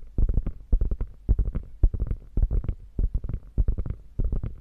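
Long fingernails scratch across the stitched diamonds of a hollow, padded quilted panel on a beige quilted faux leather bag. The result is clusters of short, dull, low scratchy rubs and soft thumps in an uneven rhythm, with brief pauses between bursts and almost no ring after each stroke.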